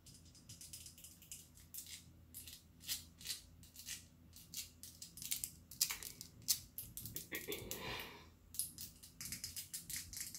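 A clear glass perfume bottle with a rhinestone collar, hollow with some liquid inside, is held close and tapped with long acrylic nails. Quick, irregular, bright clicking taps die away almost instantly, with a softer, smeared swishing stretch near the end. A faint low hum runs steadily underneath.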